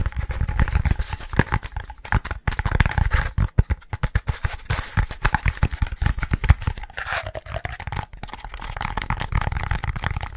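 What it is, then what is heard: Foam pool noodle piece. A short, hollow, yellow foam pool noodle section is tapped and scratched quickly with fingertips and nails. Fast bursts of dull, low thumps mix with crunchy, tearing scrapes for about ten seconds, with a brief squeak partway through.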